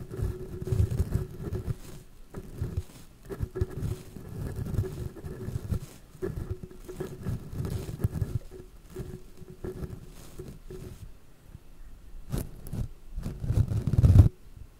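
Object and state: Metal microphone grille being brushed.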